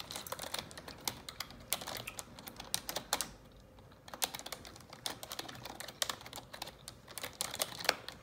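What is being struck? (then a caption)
Plastic computer keyboard. Long neon-yellow nails and fingertips type on the keycaps of a black plastic computer keyboard, making a quick, uneven run of sharp, bright taps and clicks with almost no low end. The clicks die away instantly, with a short pause just after the third second before the typing resumes.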